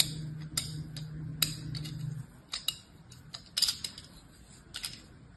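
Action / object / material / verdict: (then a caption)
scrape / kinetic sand mound cut with a thin blade / kinetic sand / none. Beige kinetic sand piled in a palm is cut and scraped with a thin blade on an orange plastic handle. The result is a run of short, crisp, bright slicing and scraping sounds, with a faint low hum under the first two seconds.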